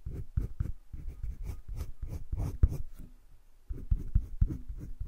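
A green wooden colored pencil shades the inner circle and the edges of a heart on a flat spiral-bound sketchbook page. Low, dry scratching and rubbing strokes repeat in quick bursts, pause briefly, then resume.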